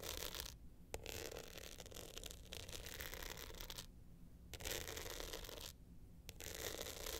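Long nails scratch the glitter face and gold metal frame near the clasp of a glitter hard-shell clutch held upright in both hands. Bursts of gritty, bright scratching are broken by brief quiet pauses, with a couple of sharp ticks and a faint low rumble underneath.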